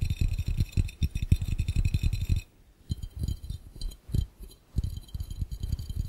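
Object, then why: Glass fishbowl. Fast fingertip and nail tapping with both hands on an empty, clear, round glass fishbowl gives rapid, short, hollow low thuds with faint bright clicks above. The quick irregular bursts break off in two brief pauses, and faint speech may be in the background.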